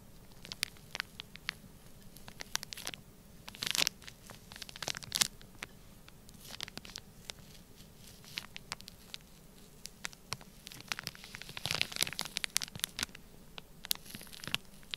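A black plastic stylus presses and scratches grid lines into a full, flat, sealed clear plastic bag of orange kinetic sand. It makes quiet, bright crinkling and gritty scratches in quick, irregular clicks, with louder bursts of crunch around 4, 5 and 12 seconds over a soft low hum.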